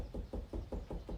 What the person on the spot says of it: That knocking is me knocking on the paper